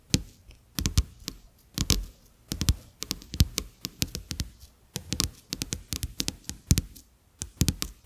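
Fingertips and short nails tap repeatedly on two thin, flat, solid plastic-coated paper playing cards resting on a dark surface. The taps come in quick, irregular bursts, each a short, dry knock with a low thump and a bright, crisp click. Each tap dies away almost instantly with no ring.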